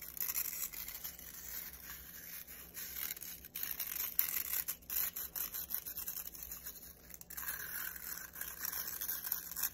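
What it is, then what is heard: Nylon-bristle hairbrush scratched by fingers. Fingertips and nails rub and scratch quickly through the stiff nylon bristles of a black plastic round hairbrush held in one hand. The result is a dense, quiet, bright scratchy rustle with almost no low end, dipping briefly just after the midpoint before turning brighter again.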